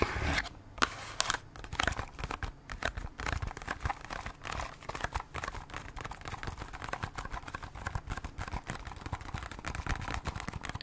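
Long nails tap and scratch on the front face of a small cardboard Band-Aid box, making a quiet, steady stream of quick, dry crinkling clicks and rasps. The short, sharp ticks die away almost at once and run continuously, with a few louder taps near the start.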